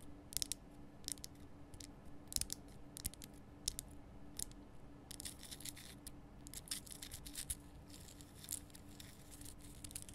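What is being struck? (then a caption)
Rock salt lamp. Long painted nails on both hands scratch and tap the rough surface of a large, lit, pink Himalayan rock-salt crystal lamp. Quiet, bright, crisp scratches and sharp little clicking taps come in bursts that grow denser in the second half. A faint steady low hum runs underneath.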